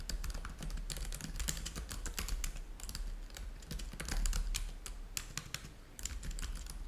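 Both hands type with their fingertips on a black laptop keyboard with plastic keys, producing a rapid, uneven stream of short, bright clicks. Each click dies away quickly, and a steady low hum sits underneath throughout.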